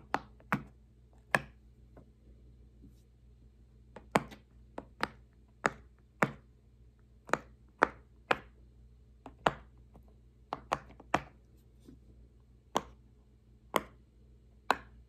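A fingertip presses the hollow bubbles of a large square rainbow silicone push-pop fidget toy one by one. This produces 18 short, crisp pops at an uneven pace over a faint low hum. Each pop snaps sharply with a bright click and dies away almost instantly.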